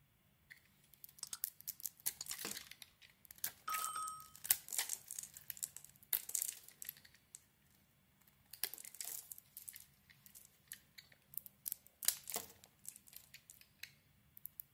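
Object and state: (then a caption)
Bar of soap being carved. A hand-sized solid oval bar of soap with a yellow outer layer and a glitter band is held in the hand and scraped and carved with a metal utility blade, shaving off curls of white soap. Quiet, bright, dry crackling and crinkly scraping comes in irregular bursts with short pauses between strokes, plus a brief thin tonal ping near the four-second mark.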